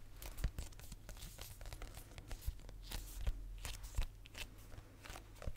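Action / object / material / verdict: tap / hardcover notebook cover / cardboard / none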